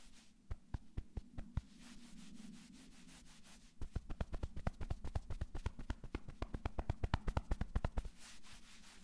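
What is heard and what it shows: Palms and flat fingers rub fast over a navy cotton sweatshirt on a man's upper back. The sound is a dull, low, muffled brushing: a few separate sharp strokes, then a softer steady rub, then a long run of quick rhythmic strokes. It fades back to a quiet rub at the end.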